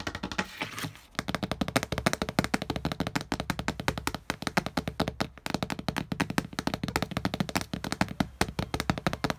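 Fingertips and nails tap quickly on the surface of a flat glass wall mirror. A steady stream of short, dry, clicky taps runs for about nine seconds with very little ring, after a brief softer, rustling start in the first second.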